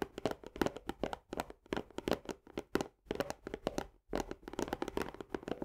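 Both hands tap fast with long nails on the paperboard wall of an Orzo Bimbo barley canister, just below its green plastic lid. Dense runs of short, dry, clicky taps with a hollow midrange tone and little low end are heard, each dying away almost instantly. The flurries pause briefly near 1.6, 3 and 4 seconds before resuming.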